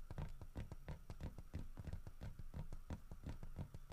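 Fingertips and nails tap quickly on the head and body of a solid carved wooden bear statue holding a fish. The result is a steady patter of short, dull, low knocks with little ring, each one dying out almost at once.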